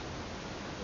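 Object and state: Nothing is struck.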